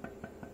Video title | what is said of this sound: Shaping a cast iron camelback straightedge | That means it's rocking back and forth between that point and that point.